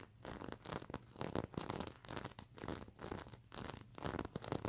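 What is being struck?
Plastic sequins on a stuffed pillow.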